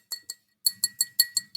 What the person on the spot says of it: it sort of sounds like glass that's what the kiln does to it